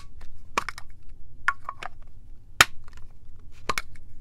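Long nails and fingertips tap a tall, cylindrical clear plastic Rio Rumberry mist bottle filled with purple liquid and topped with a clear plastic cap. Short, sharp plastic clicks with a bright edge come in loose, irregular bursts and die away almost instantly. A low, steady background rumble sits underneath.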